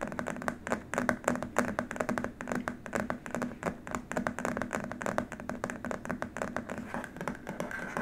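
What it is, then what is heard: Plastic keyboard wrist rest. Short nails scratch and fingertips tap rapidly across a long, flat, white rigid plastic keyboard wrist rest. The result is a dense stream of quick, dry clicks and scrapes with a faint hollow tone around 240 Hz and almost no ring.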